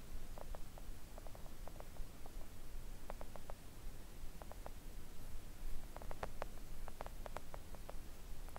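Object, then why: Silicone mat tapped with press-on nails. Long coffin-shaped press-on nails tap on a thin, solid, flat pink silicone nail art mat lying on a table. Quiet, short, dry ticks come in loose clusters, with no ring after each tap, over a steady low rumble.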